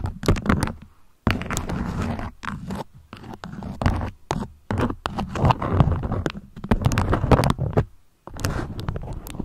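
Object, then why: Beeswax-coated cotton food wrap. A beeswax-coated cotton food wrap is folded while long nails scrape and scratch across the waxed fabric. The result is a dense run of close, dry scratching and crinkling in short bursts with brief silent gaps, weighted toward low, muffled tones with little bright edge.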